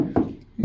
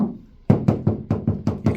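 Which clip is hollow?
The second.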